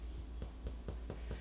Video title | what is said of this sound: How To Know When Your Sourdough Starter is Ready For Baking? | tap on the bottom and it sounds hollow. Hollow sound is a good sound.